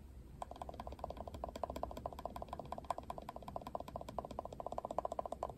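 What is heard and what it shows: Fingertips and nails scratch and tap the plastic pin bristles and handle of a plastic paddle hairbrush with pink trim. A rapid, steady string of dry, clicky ticks sits in the midrange, with almost no ring, over a faint low hum.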